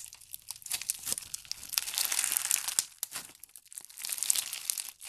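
A large mass of pale pink foam bead slime (floam), thick with foam beads and sparse glitter, is stretched and squeezed with the fingers of both hands. It gives a dense, crackling crunch of rapid bright pops with almost no low end. The crackle swells in bursts and dips into brief quiet gaps between squeezes.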